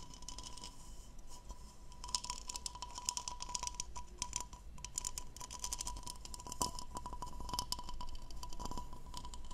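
Long painted nails scratch across the diamond-textured hollow bowl of an empty blue plastic goblet, making a dense run of bright, crackly scratches and quick ticking clicks. A faint steady tone near 1 kHz and a low rumble sit underneath throughout.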